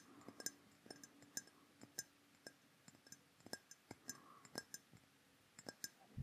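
A hollow, dark rectangular glass perfume bottle with a black metal-look cap is held close to the microphone and tapped with fingertips and fingernails. About 20 quiet, sharp taps in an uneven rhythm give bright glassy clinks that die away almost instantly. A faint steady low hum sits underneath.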